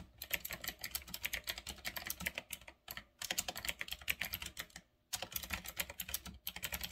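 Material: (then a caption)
Plastic. Fingertips type fast on a full-size retro typewriter-style mechanical keyboard with round black plastic keycaps on a metal-look frame. Rapid, bright, clicky keystrokes come in quick bursts, with brief pauses near three seconds and five seconds.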